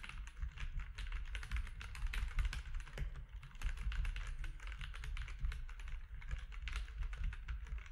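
Fingertips of both hands type steadily on a compact mechanical keyboard with grey, white and orange plastic keycaps. A fast, uneven stream of short, bright plastic clacks sits over a heavy, low thudding bed, and each keystroke dies away quickly.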